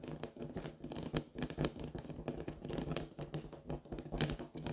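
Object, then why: Inflated latex rubber balloon. Long fingernails tap and scratch across a large pink inflated latex balloon, hollow and air-filled. Quick, dry taps and squeaky scratches overlap in an uneven rhythm, each hit ringing with a short, hollow, low-pitched tone from the taut rubber.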